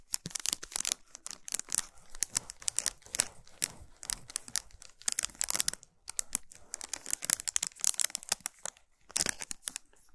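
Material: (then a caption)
Aluminium foil. Long pointed nails rapidly tap and scratch a solid chocolate bar wrapped in shiny aluminum foil, resting on a towel. The result is dense, bright crinkling and sharp clicking with very little low end, coming in quick uneven bursts with short pauses between them.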